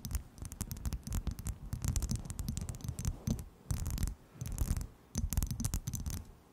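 A small, clear, hollow, empty skull-shaped glass shot glass is held close and tapped and scratched with long nails. Rapid clicky taps and scratches come in bursts separated by short pauses. Each tap has a bright edge over a low, dull body and dies away almost at once.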